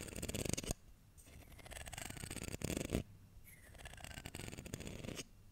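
Fingertips and nails run across and flick the teeth of a solid wooden hair comb with a dark wood handle and light wood teeth. The result is a dense, rapid ticking rasp with a low, buzzy body and bright clicks on top. It swells into louder flurries near the start and again around the three-second mark, with quieter scratchy strokes in between.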